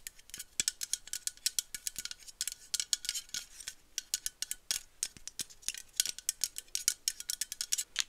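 Long nails tap and scratch the body and bottom rim of a dark, cylindrical, hollow metal aerosol can with a white plastic cap. The result is a rapid, irregular string of dozens of sharp, bright, clicky taps with almost no low end. Each tap dies away almost instantly, leaving only a faint metallic tinge.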